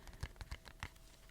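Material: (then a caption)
Paperboard. Light fingertip taps on a paperboard perfume box with the bottle put back inside give a quiet, hollow, low thudding. The short, dull knocks are spaced unevenly and die away almost at once.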